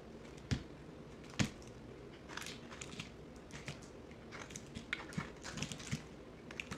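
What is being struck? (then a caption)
Bar of soap cut with a blade. A box cutter blade slices and scrapes chunks from a solid orange bar soap held in the hand, sped up. Quiet, irregular crisp scraping and crunching cuts with bright, hissy edges are heard, with two sharper, louder cuts early on over a low steady hum.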